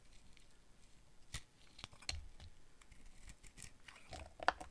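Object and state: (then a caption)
Dry bar soap being carved. A utility knife blade cuts and scrapes curled pieces off a hand-sized, dry red bar of soap with a dark coated rim, held in one hand. Quiet, dry scraping and crisp crackling run throughout, with sharp, bright clicks and snaps as flakes break away. The loudest snap comes near the end.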